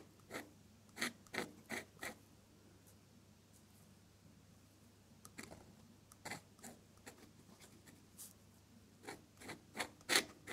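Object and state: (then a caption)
Pen nib scratching drawing paper. A metal dip pen nib scratches and drags long purple ink lines across a flat off-white sheet of drawing paper. Short, bright, raspy strokes come in quick bursts, then a quiet pause around the middle, then another run of strokes ending in the loudest scratch.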